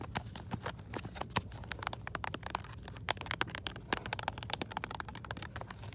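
Long acrylic nails rapidly tap and scratch across the clear hollow plastic front of a hand-sized retail blister pack, a white LED switch light on a cardboard backing card, held in one hand. The result is a dense run of short, sharp plastic clicks and crackly scrapes that stay bright and dry, over a faint low background hum in a store aisle.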